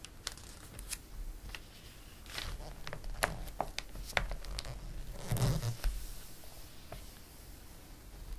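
Fingertips rub across the page of a glossy paper catalog, making soft papery swishes dotted with sharp crinkly ticks. Around the middle, a page is turned with a fuller rustling sweep. The sounds are quiet and irregular.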